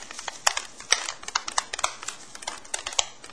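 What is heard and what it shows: An unopened aluminum can of Guinness beer is shaken, and the loose plastic widget ball inside rattles against the can in a quick series of bright, sharp clicks and taps, much like a can of spray paint. The widget is built in to release gas when the can is opened.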